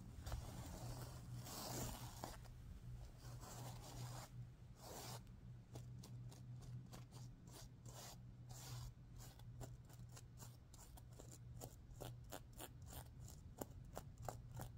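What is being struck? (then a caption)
Sequin-covered stuffed pillow. A hand sweeps across a stuffed sequin pillow while fingernails scratch the sequins, flipping their color. Soft, rustling rubs come first, then a quick series of short, bright, scratchy clicks and swipes. A steady low hum sits underneath throughout.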